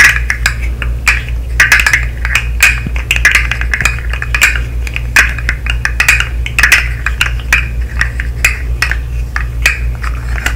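A segmented hollow plastic fidget slug toy, held up close, has its segments tapped and clicked with long nails. Dense, rapid, bright plastic clicks with short decay cluster around 2.5 kHz, over a steady low hum.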